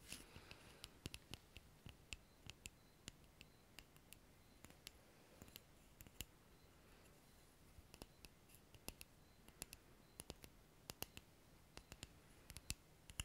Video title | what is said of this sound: ASMR FRANÇAIS \ на русском \ Tapping \ chuchotement | это деревянный предмет. И мне очень нравятся звуки деревянных предметов.